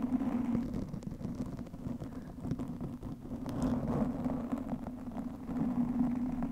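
Both hands scratch and rub a black, soft porous foam windscreen over a microphone with long nails. The result is a steady, muffled rumbling whir with a strong low hum, overlaid by dense, uneven scratchy crackles that swell and fade slightly, with little bright content.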